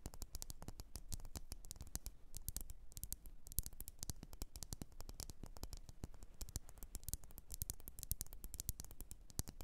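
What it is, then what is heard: Glass candle jar tapped with nails. Long fingernails tap and scratch on a lit red glass candle jar filled with wax. The quiet, rapid clicks come in dense, uneven runs for almost ten seconds, each one sharp and dying away almost at once, with soft scraping between them.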